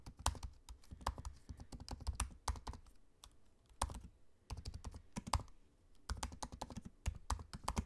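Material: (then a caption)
Plastic. Fingertips of both hands type on the low-profile black plastic keys of a space-grey aluminium laptop. Rapid, soft, dull key taps come in uneven bursts separated by short pauses. Each stroke is a quick, thuddy click that dies away almost instantly.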